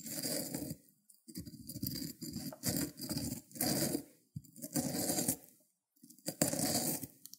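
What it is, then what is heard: Cucumber grated on ceramic plate. The solid green end of a cucumber is rubbed back and forth on the spiky surface of a white ceramic grater plate. It makes a series of wet, rasping grating strokes with a bright scratchy edge over a low crunch. The strokes come in bursts, with brief silent pauses between them.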